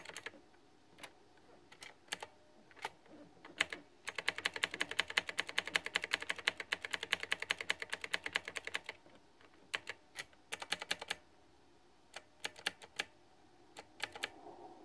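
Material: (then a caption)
Plastic. Both hands type fast with their fingertips on a backlit, pink flower-themed, typewriter-style plastic retro mechanical keyboard with round keycaps. Sharp, bright clicks come first as scattered taps, then as a dense rapid burst from about 4 to 9 seconds, then as sparse taps again. Each click dies away almost instantly, with almost no low end.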